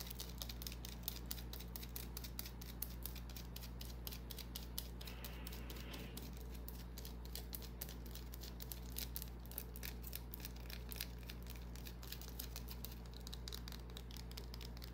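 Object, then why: Small bar of soap. Long nails scratch and tap a small, solid white bar of soap held in the hand, making a dense run of quick, dry, bright clicks over a steady low hum. Around the middle, a brief patch of softer scratching comes through before the rapid tapping resumes.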